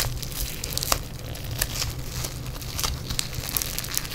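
A yellow lump of foam bead clay is squeezed between fingers in black nitrile gloves, giving a steady run of bright crunching and crackling pops. The crisp snaps are short and dry, with a few sharper crackles rising above a constant low rumble.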